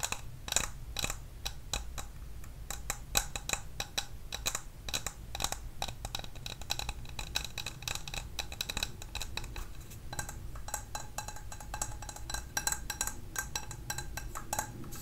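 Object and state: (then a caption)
Glass candle jar. A clear glass candle tumbler, lid off and filled with white wax, is held in both hands and tapped with long nails around its glass wall and rim. Quick, irregular taps give short, bright clicks with a faint high ring that dies away almost at once. A steady low hum runs underneath throughout.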